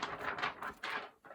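A thin sheet of paper, not card, is shaken, giving a quick run of soft, papery rustles and flaps. The rustles are crisp with bright hiss and little low end. This sheet is the wrong one, shaken to contrast with the stiffer card that is needed.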